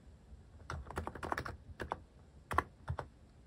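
Fingertips type quickly on a white-cased mechanical keyboard with cream, orange and brown plastic cat and paw keycaps resting on a cloth pad. About a dozen short, dry clacks come in uneven bursts, each with a soft low thump under a mid-pitched click. Each stops almost instantly.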